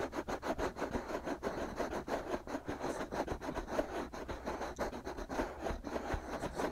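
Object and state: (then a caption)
Silicone microphone ears being scratched. Fingertips and short nails scratch and rub the outer shells of the two soft, hollow, white silicone ears on a binaural microphone. A steady run of close, rhythmic scraping and rubbing strokes sits mostly in the low-mid range, with little bright content and no ringing between strokes.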